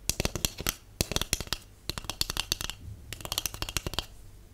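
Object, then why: Cardboard tube. A large, empty, hollow white cardboard tube is tapped rapidly with long acrylic nails and natural nails. Three quick bursts of sharp, bright clicking taps each carry a faint low, hollow thump and stop almost instantly, with short quiet gaps between bursts.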